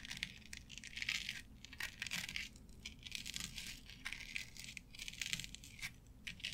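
Long nails tap and scratch across a flat board covered with synthetic turf, producing quiet, bright, crisp rustling and scratching in rapid bursts. Short sharp taps clip through the bristly texture over a faint low rumble throughout.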